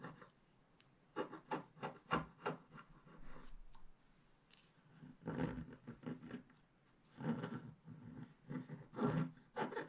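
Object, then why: Black-coated scratch-art paper scratched with a wooden stick. A pointed wooden stick is scratched across the black coating of a flat, roughly A4 scratch-art paper page in a scratch book lying on a table. Short, dry scraping strokes come in quick bursts, separated by quiet pauses. The strokes have a low, raspy body with some brighter hiss.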